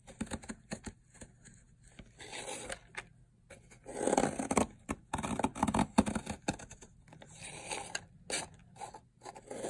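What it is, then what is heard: Dry soap bar being shaved. A metal blade scrapes and shaves layered flakes off a long, solid teal bar of dried soap. Irregular dry, crunchy scraping strokes and crisp flaking clicks come in quick bursts, with a couple of longer, louder shaving passes in the middle.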